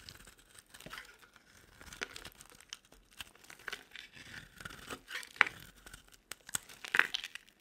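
A metal utility-knife blade scrapes and shaves an oval, palm-sized, solid purple bar of dry soap into flakes. The sound is a quiet, uneven series of dry, crinkly scraping and tearing strokes, mostly bright with almost no low end. Sharper crunchy snaps stand out near the middle and end.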